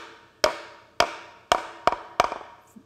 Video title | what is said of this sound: Preparing a Wooden Jack Plane - Paul Sellers | Hear that solid sound? It's not going any further.